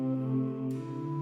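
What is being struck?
Nothing is struck.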